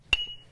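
A bench grinding wheel, hung down and struck once with a piece of wood in a ring test, gives a short knock followed by a clear, steady ring near 2.8 kHz that fades over about a third of a second. The clean, true tone means the wheel is sound, with no cracks, which matches a visual check.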